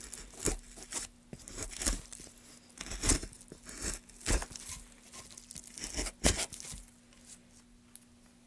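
Gloved hands make rapid cuts into a solid pine block with a metal gouge. Each cut is a short, dry tearing scrape with bright, splintery highs and a low thud. The irregularly spaced strokes tail off into quieter scraping near the end.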